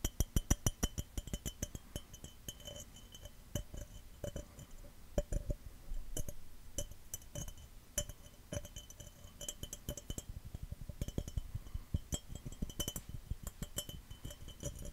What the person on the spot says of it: Fast, Aggressive Glass Cup Tapping & Scratching